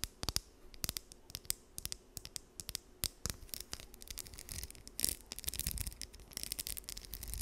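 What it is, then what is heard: Plastic comb. A small, solid blue plastic wide-tooth comb is held in both hands while long nails strum and scratch its teeth. Quiet, bright clicking plucks come in quick bursts, then give way to denser, continuous scratching toward the end.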